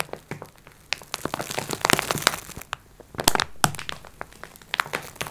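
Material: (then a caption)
Plastic film. Long nails scratch and tap across the top of a soft, plastic-wrapped multipack of sponge cloths, the clear wrap giving off bright, crinkling crackles. Sharp, dry taps and scratchy rustles come in quick, irregular bursts with almost no ring, louder in the middle and near the end.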